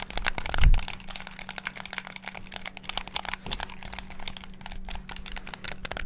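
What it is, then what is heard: Plastic game controller buttons. Fingertips rapidly press the buttons of a black, hollow plastic Xbox-style gamepad, producing a dense stream of sharp, dry plastic clicks and taps. A heavier thump lands near the start, and a faint steady low hum sits underneath throughout.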